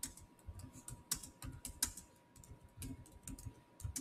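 Fingertips type on the solid black plastic chiclet keys of a silver Samsung laptop, producing a quick, irregular run of light clicky taps with bright high tops and soft low thumps. A faint steady tone near 1 kHz runs underneath, and each tap dies away almost instantly.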